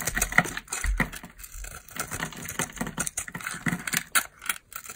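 A utility knife blade cuts into and scrapes crunchy flakes from the cut face of a hand-sized, dry solid bar of soap, black and glittery outside and purple inside, held in the hand. Dense, crisp crackles and short, dry scraping clicks follow one another rapidly, with bright, brittle texture and very little ring.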